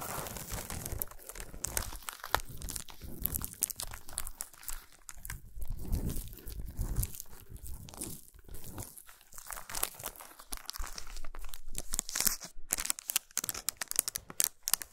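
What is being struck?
Chocolate bar wrapped in aluminium foil.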